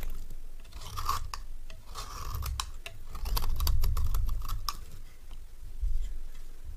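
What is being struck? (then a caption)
Bar of soap shaved with a metal blade. A metal knife blade shaves a solid, dry orange rectangular bar of soap. The result is a run of quick, dry scraping and crackling strokes with bright, crisp transients over a low rumble.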